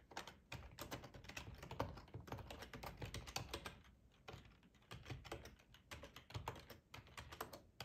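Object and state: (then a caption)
Plastic computer keyboard. Fingertips of both hands type on a full-size black plastic ergonomic split keyboard resting on a cloth tablecloth. Quick, soft clicks and dull low thuds come in rapid bursts, with a brief lull around the middle. The short keystrokes stop almost at once, leaving no ring.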